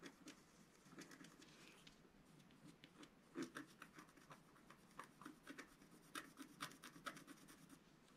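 A wooden stylus scratches lines into the coating of a flat, black-coated scratch-art paper sheet. Quiet, dry rasping continues throughout, broken by short, sharper strokes with bright, crisp edges that fade almost instantly.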